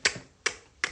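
Three sharp, crisp taps on hair saturated with nanoplasty treatment product, each a quick bright snap that dies away fast. The tapping sound shows the hair has taken on enough product.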